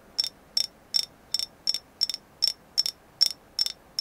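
A carved moon goddess figure named as agate is tapped in a steady, unhurried rhythm, about 80 taps a minute. Twelve short, bright clicks are heard, some landing as quick doubles, each with a high, glassy tick that dies away almost instantly. There is no low-end body, just the crisp, high taps over a quiet background.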